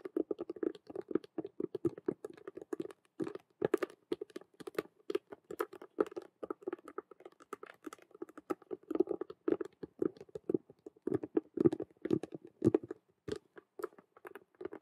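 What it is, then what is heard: Vinyl cube handbag. Long nails tap and scratch quickly on the side of a hollow vinyl Rubik's cube handbag, striking both its clear vinyl window and its black patent faux-leather edges. The result is a dense, fast patter of short, dry clicks and scrapes centered in the low-mid range, with occasional brighter, sharper taps.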